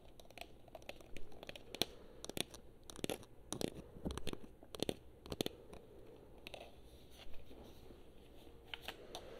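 Long nails tap and scratch across the surfaces of a hollow blue and black plastic PS4 controller held in both hands. Quiet, sharp clicking taps come in scattered bursts over soft, dry scratching and crinkly rustling, with each tap dying away almost instantly over a low, steady background hum.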